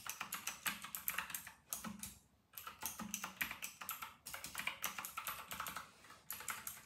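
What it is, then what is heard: Plastic mechanical keyboard. A full-size white plastic mechanical keyboard with round retro plastic keycaps, made by RK and labeled 960, is typed on quickly with the fingertips of both hands. Dense, bright, clacky keystrokes come in rapid bursts, with a brief pause partway through.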